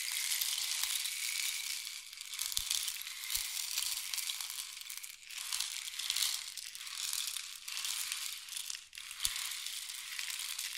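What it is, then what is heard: Wooden rain stick. A long, hollow, painted wooden (or bamboo) rain stick is held diagonally by the fingertips and tilted, sending pellets trickling through it. The result is a continuous, bright, hissing patter with almost no low end, swelling and easing in waves as the stick is tipped, with a few brief dips and soft ticks.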